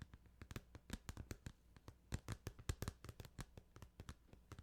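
Fingers tap rapidly and irregularly on a plastic Final Fantasy 8 video game case, producing a quick stream of short, dry knocks. The taps are soft and low-heavy, each with a brief bright click on top and almost no ring.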